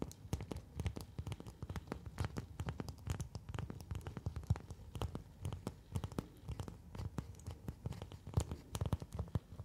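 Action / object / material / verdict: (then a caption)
scrape / thin plastic folder sheet / plastic / none. A thin, translucent orange plastic folder sheet held in both hands is scratched with long nails and flexed, giving a quiet, crinkly sound. Rapid, sharp scratching clicks and crackles run throughout, over a soft low-end rustle.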